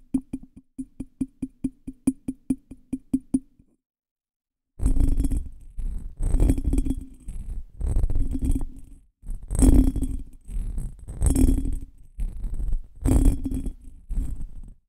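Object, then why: Small cut glass bottle. A small, hollow, ornate cut glass bottle that looks empty is held upside down over a microphone while fingertips tap and scratch its patterned surface. About fifteen quick, evenly spaced taps give short, dull clinks with a low tone. After a brief pause, longer bursts of scratching follow, heavy in low rumble with a faint bright shimmer.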